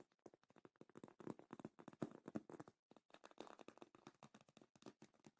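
Long light-painted nails tap and scratch the top and sides of a medium rectangular black faux leather zippered cosmetic bag, padded and hollow, resting on a black cloth. Dozens of quick, soft, dull taps with little ring sound in rapid bursts, with a brief pause near the middle.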